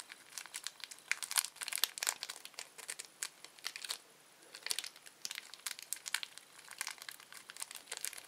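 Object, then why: Thin plastic candy wrapper. A small, thin, empty red-orange printed plastic candy wrapper is pulled, twisted and crinkled between the fingertips of both hands. Dense, bright, crackly crinkling comes in quick bursts of sharp snaps, with a brief lull near the middle before it picks up again.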